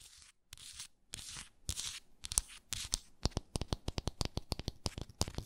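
Long nails scratch and tap on the glass body of a small hexagonal frosted glass moisturizer jar with a wooden lid. Bursts of dry, bright scratching come first, then a run of quick, sharp taps with almost no ring.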